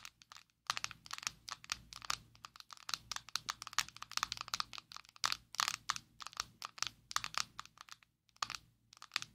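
A closed, small square black plastic Maybelline Fit Me loose powder jar, held in both hands, is tapped with long nails. The result is a rapid, uneven stream of sharp, bright clicks and crackly taps that die away almost instantly, with very little low end and a couple of brief pauses.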